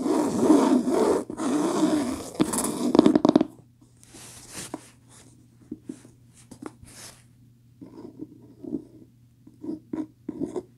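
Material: Cloth, cardboard.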